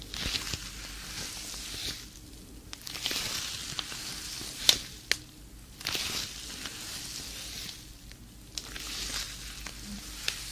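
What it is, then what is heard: Leather glove crinkling. A black leather fingerless glove, worn on a hand with long painted nails, is clenched and flexed so the leather squeezes and crinkles against itself. Bright, hissy crinkling swells and fades in waves, broken by sharp high creaks and snaps.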